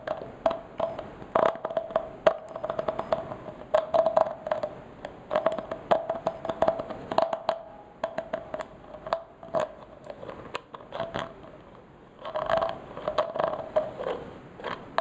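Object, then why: Glass bottle with plastic screw cap. Fingers twist the white plastic screw cap of a small clear glass bottle, partly filled with yellow liquid, on its threads and nails scrape across the cap. The result is a dense run of quick, dry clicks and scratches over a steady mid-pitched ringing tone near 650 Hz. The activity quiets briefly before picking up again near the end.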